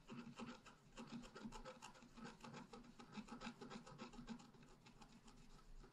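A wooden stylus scratches a thin black-coated scratch-art paper sheet lying flat, first at the bottom and then in the tree crown. The result is a run of quick, dry, irregular rasping strokes with a soft papery hiss and no ring after each stroke.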